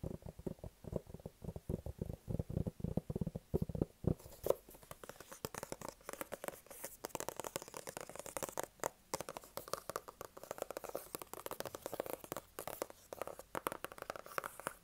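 Fingertips and nails tap and scratch the surfaces of a small, flat, white rigid cardboard Apple-style product box, hollow, held close and turned to different angles. The first four seconds are dense, hollow, low thumping taps. After that the sound shifts to brighter, crackly scratching and clicking, with quick, dry hits that stop sharply.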